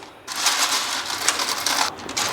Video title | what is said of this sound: ગેસના ઉપયોગ વગર 250g પૌવા માંથી બનાવો આખો ડબ્બો ભરી ને કુરકુરે - Poha kurkure - Crispy Kurkure | the pouva kurkurs have dried nicely. You can hear how crispy they are.